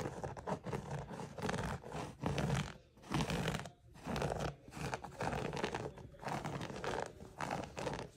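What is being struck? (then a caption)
Woven jute rug. Fingertips and nails scratch along a flat woven jute or natural-fiber rug with raised grey, white and orange yarn stripes, while a different rug lies untouched nearby. Repeated strokes produce dry, rough, crackly scratching in uneven bursts with brief quiet gaps between them. The sound is full in the low-mid range and dies away almost immediately after each stroke.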